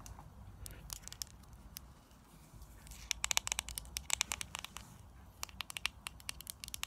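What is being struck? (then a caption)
Small plastic jar with screw lid. A small round plastic lip scrub jar with a white plastic screw lid, filled with green granular scrub, is tapped and scratched by long nails on the lid and sides. Sharp, bright clicks come in quick irregular bursts, with a quieter stretch of soft scratching in between, over a low rumbling background.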